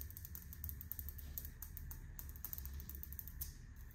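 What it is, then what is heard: Ceramic floor tile. Long painted fingernails scratch and tap across a large, flat, solid grey speckled stone-look ceramic floor tile with grout lines in a hotel bathroom. Rapid, dry, bright clicks and scratchy strokes come in quick clusters over a steady low hum and a faint constant tone, with each tap dying away almost instantly.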